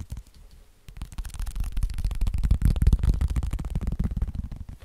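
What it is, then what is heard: Fabric and foam wrist splint. A hand-sized, soft black fabric and foam wrist splint is held in the hands and tapped and scratched with the fingertips. After a quiet start, a dense run of muffled, low, thumping taps with faint scratchy texture builds up and continues steadily to the end.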